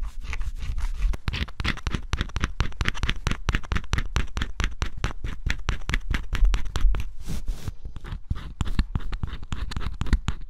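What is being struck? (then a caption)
Cardboard scratch-off puzzle with coating. A small tool held in the fingers scrapes the black coating off a cardboard scratch-off jigsaw puzzle, giving a steady run of short, dry scratching strokes close to the microphone. Each stroke is brief, with a crackly texture and a low thud underneath, and flakes of coating come away as it goes.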